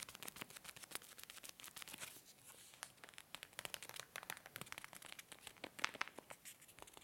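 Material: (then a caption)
Foil laminate. A tall blue and black foil-laminate coffee bag is held in both hands and crinkled and squeezed with the fingers. Dense, quiet, bright crackles and sharp crinkling snaps come in quick irregular bursts, each dying away almost instantly, with very little low end.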